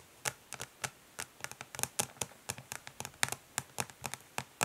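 Long nails tap rapidly on the ridged, smoky plastic back of a makeup palette case. More than twenty quick, sharp clicks sound, bright and dry with almost no ring. They come in an uneven patter over a faint hiss.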